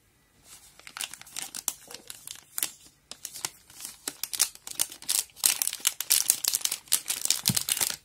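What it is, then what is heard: Plastic-wrapped halva bar, wrapper crinkling. A small, full and solid halva bar of about 200 g, still unopened in its black and yellow crinkly plastic wrapper, is gripped, turned and squeezed by the fingertips of both hands on a plastic cutting board. Dense, bright crinkling and crackling bursts come in quick, irregular succession, growing louder and busier toward the end.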